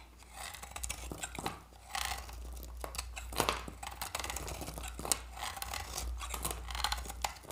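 A utility-knife blade shaves orange curls off a solid, dry oval Santoor soap bar with a reddish varnished skin, held in the hand. Each stroke gives a crisp, dry scraping crackle with bright edges and sharp clicks, over a steady low hum.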